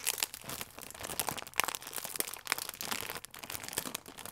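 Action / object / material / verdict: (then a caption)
scrape / plastic film croissant wrapper / plastic film / none. A full plastic film croissant pack is squeezed, crinkled and pressed with fingertips. Continuous bright, crackly crinkling fills the clip, with sharper crunchy snaps standing out now and then and almost no low end.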